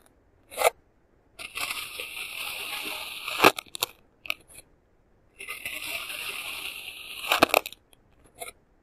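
A flattened, solid patch of pink kinetic sand, ridged from earlier cuts, is sliced repeatedly with a clear plastic serrated knife held by hand. Two long, steady, bright gritty crunching drags are heard, each ending in a sharper crackle. Short crisp crunches come before, between and after them.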